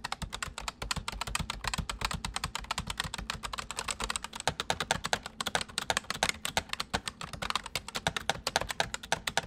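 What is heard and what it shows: Fingertips of both hands type fast and densely on a white full-size plastic mechanical computer keyboard. A steady stream of crisp, bright clicks with soft low thuds beneath them rattles on without pause, each keystroke dying away almost instantly.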